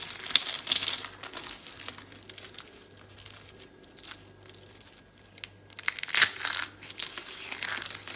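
Dry orange soap rosettes, broken into flakes, are crushed and crumbled in a hand with long dark red nails, giving dense, bright, crisp crackling and crunching. The crumbling thins to soft, sparse crackles through the middle, then returns with a sharp, loud crunch and a busy burst of crackling toward the end, over a faint low hum.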